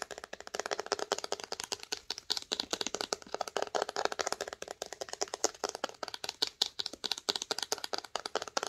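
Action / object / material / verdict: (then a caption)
tap / cloth-bound hardcover book spine / bookcloth / none. Long acrylic nails tap and scratch along the spine of a red cloth-bound hardcover book held in the hands. A fast, steady stream of dry, crisp clicks with a bright scratchy edge, almost no low end and no ring after each tap.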